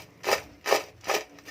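Freshly fried homemade McDonald's-style potato french fries are rubbed and tapped together, giving four short, dry, wood-like crunchy rasps. The crisp sound shows the fries are very crispy.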